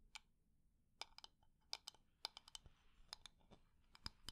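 A wooden decorative container is tapped quickly and at medium speed, with its textured surface scratched, producing about fifteen sharp, dry, high-pitched clicks. The clicks die away almost instantly over a soft, faint background of scratching.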